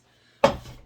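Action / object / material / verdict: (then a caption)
shake / cardboard shipping box packed with newspaper / cardboard / tight. A cardboard shipping box packed with newspaper and air bubbles, its lid folded shut, is given a shake test, producing a single short, dull thud with a quick decay and no rattling. The contents stay put, so the box is well packed.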